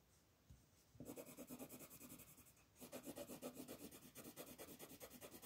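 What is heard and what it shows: A yellow wooden colored pencil rubs across a thin, flat paper coloring page in broad shading strokes, filling in the sun area. The result is a soft, steady scratchy rasp that pulses with each back-and-forth stroke. After a quiet start, two bursts of strokes are heard with a brief lull between them.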